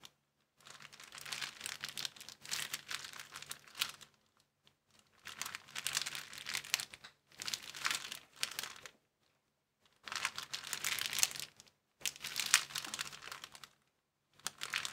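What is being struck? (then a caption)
Thin plastic bag. Both palms and fingertips press and rub a thin clear plastic bag lying flat on a wooden table. They make bursts of dense, bright crinkling and crackling separated by short silent pauses.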